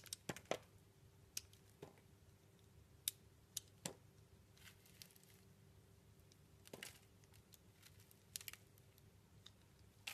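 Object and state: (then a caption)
Bar soap being shaved with a blade. A solid, round, translucent blue bar soap with a pink swirl center, held in the palm, is shaved and scraped with a utility blade. Sharp, crisp scraping and cutting strokes come in irregular bursts, each with bright, crackly detail and almost no ring. A faint steady hum sits underneath.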